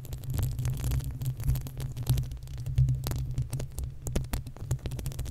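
Long nails scratch the hollow, uncovered metal mesh grille of a desktop condenser microphone while fingertips drum on top. The result is a dense stream of deep, boomy thumps and rumble, with quick, bright scratchy ticks over a low, steady throb.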